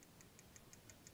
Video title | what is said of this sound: Diagnose & Fix low oil pressure light 30C1, P15A0 - BMW N43 oil control solenoid valve explained | if I shake this one, I can hear it quite a bit more